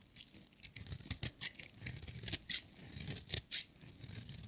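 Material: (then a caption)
Soap. A metal utility knife blade scrapes and shaves a solid, dry orange bar of soap with white stripes. The result is a quiet run of bright, crisp scratching strokes with short dry bursts and no ring.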